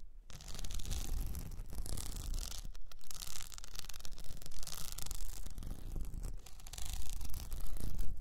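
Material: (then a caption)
Plastic. Long painted nails scratch a tall blue cylinder standing upright and wrapped in a plastic rhinestone sheet. The result is a dense, continuous rasping scratch with bright, hissy texture over a low rumble, rising and falling in intensity without clear breaks.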